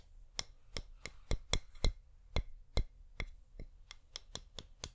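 A flameless wax pillar candle is held upright and tapped with long nails, giving 14 short, dry, bright clicks at an uneven pace. Each tap dies away almost instantly over a quiet low hum.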